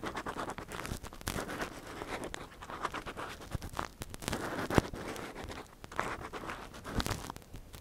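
A metal earpick in a gloved hand scrapes and scratches inside the ear canal of a soft silicone ear model. The sound is a dense run of close, crackly scratches and small taps that vary in loudness. A few louder clicks stand out against a steady rustling texture.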